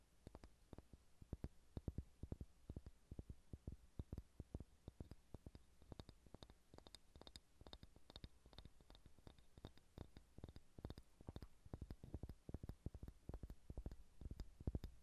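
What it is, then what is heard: Solid pine wooden ball. A solid pale pine wood ball is tapped and scratched with fingernails. Rapid, closely spaced dull taps with a low thud carry through the whole clip, with faint, bright scratching in the middle section. Each tap dies away almost instantly, and the overall level stays quiet.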